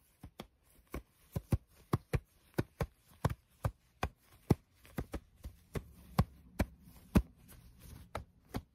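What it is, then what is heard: Fabric scrunchie, elastic plucked. A small, soft pink patterned fabric scrunchie with elastic inside is held in both hands while fingertips stretch and pluck the elastic band and rub the fabric. Twenty-two short, soft, low snaps sound in a loose rhythm, each dying away almost at once. A faint low rustle of rubbed fabric grows beneath them in the second half.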